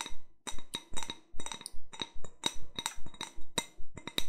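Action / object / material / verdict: tap / glass wine glass / glass / none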